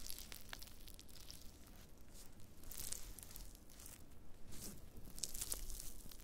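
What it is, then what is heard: Dried wood ear fungus pieces. Black-gloved fingers press, rub and scratch thin, brittle, brown flakes of dried black fungus (wood ear mushroom) on a white cutting board. The result is a quiet, continuous crinkling and scratching with scattered sharp, bright crackles over a low rumble.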